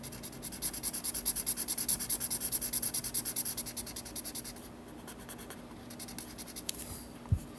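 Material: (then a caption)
Paper. A black felt-tip marker rubs rapid, repeated strokes back and forth to fill in an area on the white paper page of a spiral sketchbook. Each stroke gives a bright, squeaky scratch over a low steady hum. After about four and a half seconds the strokes fade to softer rubbing, ending with a brief low knock.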